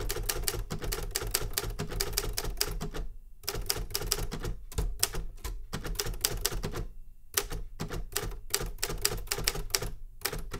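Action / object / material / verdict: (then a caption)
tap / metal manual typewriter keys / metal / none. Fingertips tap the keys of a Remington Super Riter metal manual typewriter in quick bursts of sharp, bright clacks, with brief pauses near the three- and seven-second marks. Each strike snaps off almost instantly over a steady low rumble.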